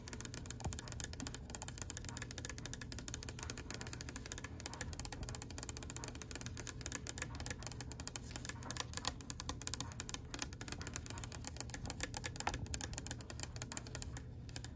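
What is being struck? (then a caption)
Oak wooden tabletop. Long pink-white fingernails tap rapidly on the top of a solid oak-grain wooden table with knots along its edge. The result is a quiet, dense stream of dry, short clicks that stop instantly with no ring, over a steady low hum and a bright high hiss.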